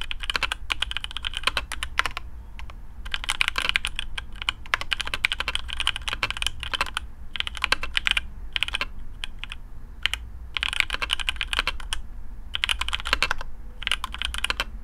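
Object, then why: Mechanical keyboard with plastic keycaps. Fingertips of both hands type on a black custom AARU mechanical keyboard with TTC Speed Silver switches, PBT plastic keycaps on a carbon fibre plate, and a hollow case. Rapid, bright, short clacks come in dense bursts separated by brief pauses, over a steady low hum.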